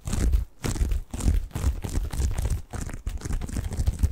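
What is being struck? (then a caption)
Padded bath pillow with plastic mesh cover. Fingertips scratch a soft, padded, medium-sized white bath tub pillow covered in textured plastic mesh, held in both hands close to the microphone. The result is dense, crinkly scratching with a heavy low rumble, coming in bursts broken by a few brief pauses.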